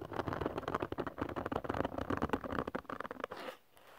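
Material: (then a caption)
Glitter paper. Fingernails quickly scratch a textured glitter cardstock sheet up close, making a dense run of dry, crackly scraping strokes with a bright rasp. The scratching stops at about 3.5 seconds, leaving a faint, quiet hiss.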